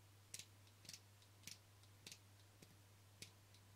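Fingernails tap and scratch the rim and face of a small, flat black plastic camera lens cap held between the fingers. Six quick, bright clicks, some doubled, sound at uneven intervals over a steady low hum, each dying away almost instantly.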